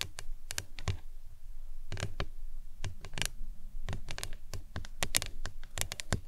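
A printed, hollow plastic lemonade tumbler cup with a green lid stands upright on a towel and is tapped and scratched with long acrylic nails. Quick, irregular clicky taps land in bursts, each with a dull low thump and a bright, crisp top that dies away almost instantly. A soft scratching fills the gaps between the taps.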